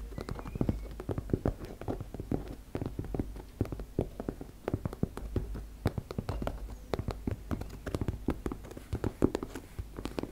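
Long nails tap and scratch across a teal embossed-fabric makeup bag. The result is a dense, irregular stream of quick, soft, dull taps with a faint scratching texture, weighted toward the low end and with no ring after each hit.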